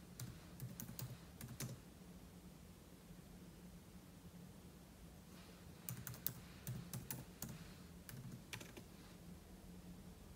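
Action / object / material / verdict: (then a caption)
tap / laptop keyboard, plastic keys / plastic / none. A fingertip taps sparsely on the plastic keys of a silver aluminum laptop keyboard, with an open book lying untouched beside it. About 18 short, bright clicks come in two loose bursts separated by a pause of a few seconds. A steady low hum sits underneath throughout.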